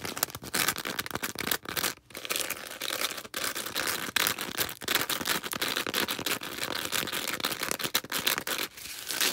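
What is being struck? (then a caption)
Porous foam sponge. Long red acrylic nails squeeze and scratch a small, star-shaped green porous foam sponge. The result is a dense, bright, crackling scratch, like tearing or crinkling, with almost no low end. It runs in rapid bursts broken by a few brief silent gaps.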